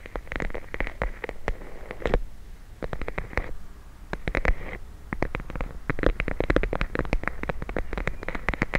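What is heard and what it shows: A clear plastic bag full of teal gel beads is tapped and scratched with long blue nails, giving rapid, crisp clicks and crinkly scratching over soft, squishy low thuds. The taps come in dense bursts with brief lulls near the middle, each click dying away almost instantly.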